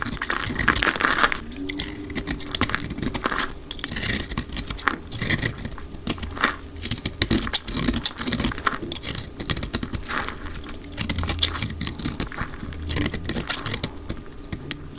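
A solid grey-black speckled dry soap bar is held in the hand and scraped and cut with a utility knife blade, played back at double speed. Dense, rapid dry scraping and crisp crumbling cuts run continuously, bright and gritty, with short sharp snaps over a faint low rumble.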